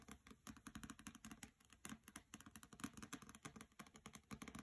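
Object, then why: Hardcover book with paper dust jacket. Fingernails tap rapidly on the cover of a hardcover copy of the novel "Graceling" with a glossy paper dust jacket, lying on a carpet, then move to tapping its side edges. The taps are quick, dry, clicky hits with a bright edge and a soft low-mid body, each dying away almost instantly in a steady, uneven patter.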